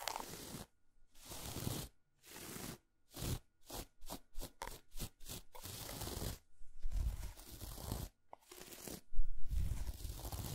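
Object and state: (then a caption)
Dark chocolate bar scratched and tapped. A solid, unwrapped dark chocolate bar with a patterned, segmented surface lies on a fuzzy towel, and long acrylic nails scratch and tap across it while two loose squares sit untouched nearby. Broadband scraping strokes alternate with a fast run of short, crisp taps, all dry and quickly damped, with some deeper thumps at the end.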